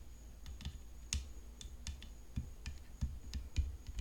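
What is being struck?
Tennis racket frame.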